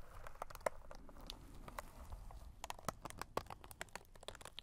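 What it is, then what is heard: Paper folding fan crinkling. A small paper butterfly fan, pleated printed paper between two green plastic sticks, is held in black nitrile-gloved hands, fanned open and then folded closed. The paper pleats crinkle and rustle as a string of short, dry crackles over a soft low rumble, with a few sharper snaps standing out.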